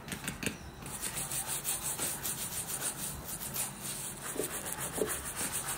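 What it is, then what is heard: Leather boot being brushed. A wooden-handled bristle brush scrubs the side of a worn black leather lace-up boot near the welt, making a steady, bright, scratchy rubbing sound. The brush strokes come in quick, rhythmic passes with a hissy high edge and a soft low thump underneath.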